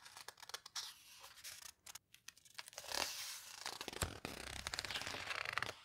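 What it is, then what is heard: Heavy paper book pages. Fingers with long red nails squeeze and turn the heavy paper pages of a large open photo book, a paper houseboat book. Quiet, bright, crisp rustling and scratchy crinkles come in quick bursts, with a longer sweeping swish near the middle as a page turns over.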